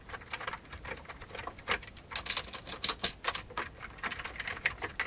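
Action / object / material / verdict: tap / plastic computer keyboard keys / plastic / none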